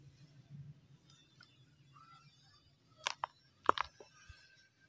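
Bare hands crush and crumble solid chunks of dried mud over a large plastic tub filled with dry brown soil and small pebbles, and fingers rub through the grit in a crumble-and-rub action. After about three seconds of faint, quiet rustling over a low hum, five short, sharp, gritty crunches come close together, the loudest near the middle of the burst, each dying away almost instantly.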